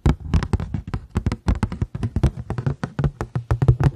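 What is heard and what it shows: A paper plate is tapped rapidly for four seconds, about two dozen quick, dull taps in an uneven rhythm. Each tap is a short, hollow thump centered low around 120 Hz with a faint bright click on top, and it dies away almost at once.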